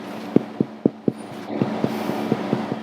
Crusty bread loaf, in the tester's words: It should resonate properly inside, like the sound of a drum